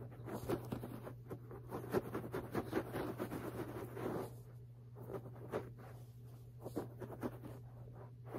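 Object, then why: Low-pile fabric carpet. Fingertips and nails of both hands rapidly scratch and tap a low-pile beige fabric carpet lying on a flat, solid floor. The result is dense, dry scratching and soft, muffled taps, sitting over a steady low hum. It is busier and louder for the first four seconds, then thins to quieter, scattered scrapes and taps.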